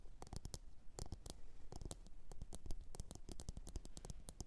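Long orange nails tap quickly on a medium, glossy blue ceramic bowl that sits hollow, empty and upside down on a fur mat. The result is a steady stream of short, dry clicks with bright tips that die away almost at once, over a faint low hum.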